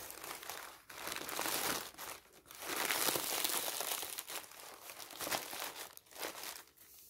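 A large loose sheet of thin, printed white tissue wrapping paper is crumpled and rubbed flat by fingertips and palm, with a kraft envelope lying nearby untouched. Bright, hissy crinkling swells in long bursts separated by brief quieter gaps, with almost no low end.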